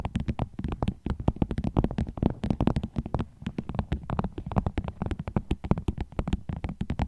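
A vinyl bag is tapped with the nails in a quick, steady stream of short, soft clicks. The taps are dull and low-weighted with a light crinkly edge, and each dies away almost instantly.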